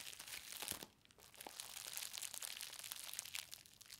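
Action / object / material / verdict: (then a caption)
tap / plastic bubble-wrap parcel / plastic / none. A book package wrapped in green plastic bubble wrap lies on a fabric surface while fingertips and long nails press and tap the bubbles, crushing them. Dense, bright crinkling and crackling pops come in quick bursts with very little low end, with a short quieter gap near the one-second mark.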